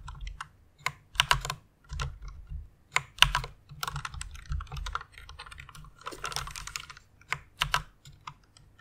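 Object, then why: Plastic mechanical keyboard. Fingertips with long nails type on a white plastic mechanical keyboard. The keys give bright, sharp clicks and clacks in uneven bursts and rapid runs, with a short, dry decay and a faint low thud under each press.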